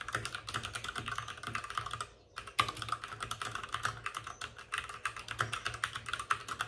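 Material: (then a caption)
Plastic. Both hands with short-nailed fingertips rapidly tap the plastic keycaps of a white full-size plastic mechanical keyboard with RGB backlighting, set on a desk with a padded wrist rest. The result is a dense stream of bright, clacky keystrokes centered around 1.2 kHz, each dying out almost instantly, with a brief pause just after two seconds before the rapid typing resumes.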